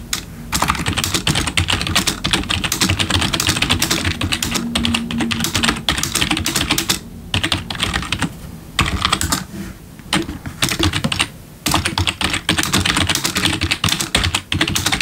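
Both hands type with their fingertips on a black plastic backlit computer keyboard resting on a desk. Rapid, bright, clicky keystrokes run in dense bursts, with brief pauses between stretches of typing.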